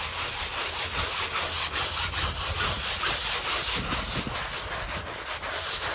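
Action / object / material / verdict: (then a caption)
scrape / woven textile rug scrubbed with a bristle brush / textile / none. A gloved hand scrubs in circles with a handheld bristle brush over a small, wet, muddy woven textile rug covered in swirled foam and lying on a plastic sheet. The result is a steady, rhythmic, bright scratching and rubbing hiss that repeats at an even pace.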